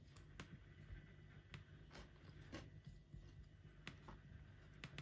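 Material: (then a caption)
Plastic. Fingertips of both hands tap the black plastic keys of a silver laptop keyboard while typing. Quiet, sharp clicks sound out irregularly over a low steady hum.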